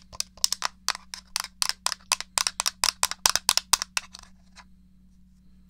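A small, hollow, grey plastic SNES controller is held upright while its buttons are pressed and its case is tapped with fingernails. About 23 sharp, dry, bright clicks and taps come in quick bursts, each dying almost instantly. They thin out toward the end, leaving a faint low hum before one final tap.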